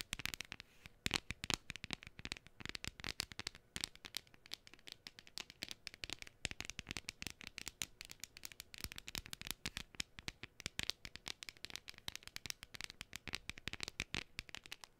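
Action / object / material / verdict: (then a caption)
scrape / thin printed cardstock cutout / cardstock / none. A thin, hand-sized decoration of flat printed cardstock shaped like a gnome is held close to the microphone while fingernails scratch and tap its surface and edges. The result is a dense, continuous stream of crisp, dry taps and papery scratches, mostly bright and high with little low end. Each sound stops instantly, with no ring.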